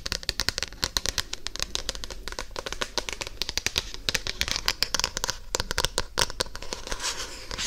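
Long painted nails scratch and tap the glossy card cover of a solid paper paperback book held close to an ear microphone. A rapid, uneven stream of sharp, bright clicks and crinkly scratches runs throughout, each tap dying away almost instantly.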